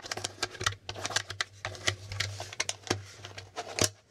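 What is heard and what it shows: Fingertips tap and flip the plastic letter and figure tiles on a plastic Hangman board game held up close, producing a quick run of light, bright plastic clicks and ticks. Each click stops almost at once over a faint steady low hum.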